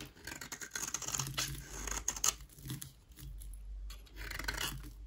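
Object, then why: Bar of soap. A solid white rectangular bar of dry soap, held in the hand, is scraped with a utility knife blade. Quick, dry, bright scratching strokes come in a rapid run of short rasps over a faint low hum.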